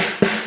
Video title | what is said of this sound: The ULTIMATE Guide to Snare Drum Tuning and Maintenance - Drum Lesson | so just by tapping on the bottom head you can hear that this tension is too loose for the snare wires